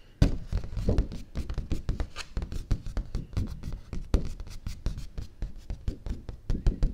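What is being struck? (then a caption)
Thin stiff cardstock sheet. Fingertips and nails tap the flat surface of a large, thin, stiff white cardstock sheet held upright in one hand. The result is a quick, uneven run of short, dull taps with a low, papery thump and almost no ring.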